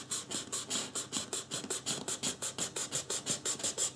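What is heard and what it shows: Fingertips rub and scratch the forehead and sides of a life-size white polystyrene foam mannequin head, producing about 23 quick, evenly paced scratchy strokes over four seconds. Each stroke is a short, dry, bright hiss with almost no low end and no ring after it.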